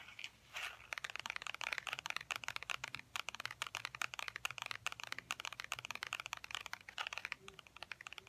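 A tan wallet made of faux ostrich-textured leather is held in both hands and tapped rapidly with the fingernails. The result is a continuous flurry of dry, crisp clicks with a crinkly, bright texture that stop dead with no ring. The taps stay at a steady, quiet level throughout.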